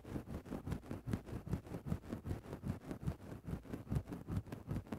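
A thin bamboo stick scratches into a grey synthetic-fur microphone windscreen in steady, rhythmic strokes, about two and a half per second. Each stroke is a soft, muffled, low rustle with almost no high end, and it stops quickly with no ring.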